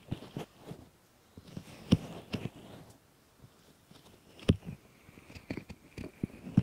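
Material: Silicone.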